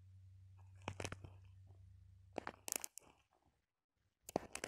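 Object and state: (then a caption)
Plastic sequin-covered ball. Long painted acrylic nails scratch and tap a small ball covered in pinned-on red plastic sequins, with loose sequins scattered around it. Bright, crisp crunching scrapes and clicks come in quick clusters over a faint steady low hum. The sound drops to near silence for a moment before a final burst of sharp scratching taps.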